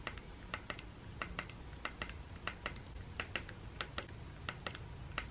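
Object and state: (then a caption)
Plastic electric toothbrush button. A thumb and fingernail repeatedly tap the button on a hollow plastic Sonicare electric toothbrush handle held in the hand. About 25 crisp, bright clicks ring out in an irregular rhythm over a low background rumble, each fading quickly.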